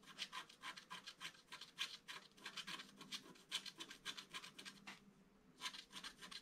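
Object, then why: Black-coated scratch-art paper board scratched with a wooden stylus. A wooden stylus scratches a flower into the upper right of a flat, black-coated scratch-art card. Quiet, bright, rasping strokes repeat in a quick steady rhythm, with a brief lull about three-quarters of the way through before the scratching resumes.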